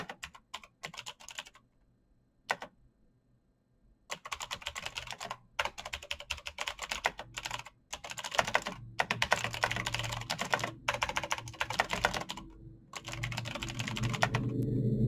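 Bare fingertips type quickly across a full-size black plastic mechanical keyboard with clicky green switches and RGB backlight, its hollow case resting on a desk mat. Bursts of sharp, bright clicks come in uneven runs, broken by short pauses and one longer silence early on. The typing grows denser and louder over a low rumble toward the end.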